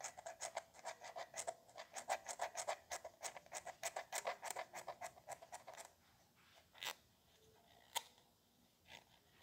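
Fingertips and nails tap and click on the pump cap and neck of a small, hollow white plastic spray bottle held in one hand near the chest. A quick, uneven run of short, dry, hollow clicks with a bright edge lasts about six seconds. After that come a few sparse, isolated clicks over quiet.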